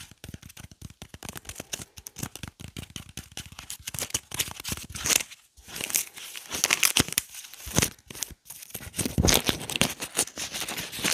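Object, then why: Whole onion with dry papery skin. A whole, solid yellow onion is held in both hands while fingernails scratch and peel its dry, papery skin and stem. Dense, bright crackling and tearing crinkles come in rapid bursts, growing louder and fuller in the second half.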